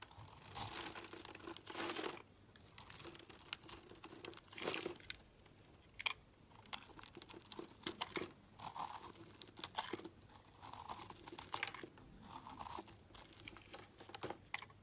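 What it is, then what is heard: Soap bar being cut. A utility knife blade cuts and scrapes a solid yellow soap bar that has been pre-scored in a crosshatch, and small cubes fall onto a pile. The result is a series of crisp, bright crunching and crackling bursts with short scraping strokes in between and very little low end.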